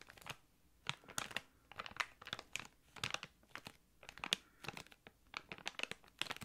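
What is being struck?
Thick clear plastic bag.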